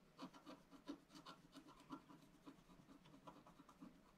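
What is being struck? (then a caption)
Coated scratch-art paper scraped with a wooden stylus. A wooden stylus scratches the bottom corner of a black-coated scratch-art card lying flat on a table. Quiet, uneven strokes come in a steady rasping rhythm, each a short dry scrape with a low body and a brighter gritty edge, dying away almost at once.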